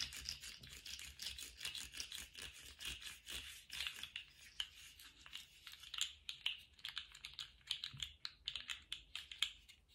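A small rainbow-striped plastic slug fidget toy with hollow jointed segments is wiggled and bent in both hands. Its segments make a dense run of quick, bright clicks and light rattling. Each click is dry and short, with almost no low end, and the clicks turn sharper and more spaced out toward the end.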